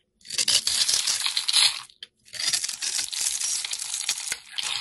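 A utility knife blade scrapes across the scored surface of a solid oval blue bar of soap held in the hand, crumbling it into granules and shavings. Two bursts of bright, dry scratching and crunching are heard, separated by a brief pause near the two-second mark, with almost no low end.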